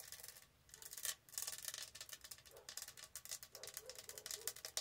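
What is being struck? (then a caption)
Studded plastic tumbler. Fingernails tap and rub over the textured surface of a tall, hollow, studded plastic tumbler. The sound is a bright, scratchy rasp broken by quick, dry clicks, with almost no low end and short bursts that stop abruptly.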